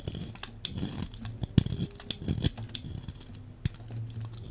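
A solid beige bar of soap is shaved with a metal blade, making steady scraping cuts. Short, crisp cutting clicks with bright edges sit over a soft, low rumble, and each cut stops dead with no ring.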